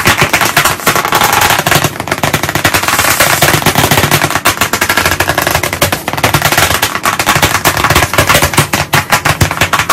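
Both hands tap white chalk sticks very fast against a solid, medium, flat black chalkboard panel set in a wooden frame. The result is a dense, continuous rattle of sharp, dry clicks with a bright, broad texture and almost no ring, keeping a steady pace for about ten seconds.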